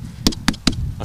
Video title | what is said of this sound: Híradó 2022. július 15-én, pénteken | Általában, hogyha mélyen kong, vagy ilyen dübögős hangja van, akkor meg van szakadva a dinnye.